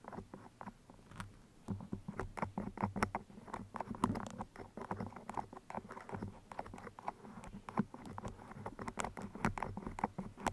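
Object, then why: Steel pins in a foam microphone windscreen. Two steel pins with colored bead heads are pushed into the sides of a black foam microphone cover and wiggled. The result is a dense, irregular patter of soft, dry scratching clicks and rustles, mostly low-mid in tone, that stop instantly without ringing.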